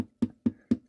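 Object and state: Loose guitar bridge plate.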